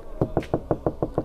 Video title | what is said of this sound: Modifikasi Ala SULTAN INNOVA UPGRADE 2015 MenolakTua Om Fathur Purwokerto #Innovadiesel #restorasi | kalau diketuk suaranya ngebas ya karena sudah full peredam